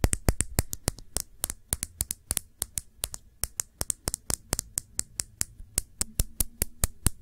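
A small, full Sephora glass nail polish bottle with a black cap is held sideways and tapped with long nails. It gives 37 quick, sharp, bright clicks in an uneven rhythm, each dying away almost instantly over a soft low rumble.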